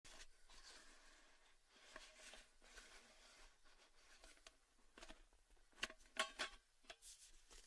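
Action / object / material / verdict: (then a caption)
tap / cylindrical metal tin with lid / metal / none. A hand grips the lid of a tall, hollow, red cylindrical metal Baileys gift tin with the lid on, while fingertips tap and rub the lid top and rim. Quiet, hissy rubbing and scratching gives way to a few sharper, brighter taps near the end that ring only briefly.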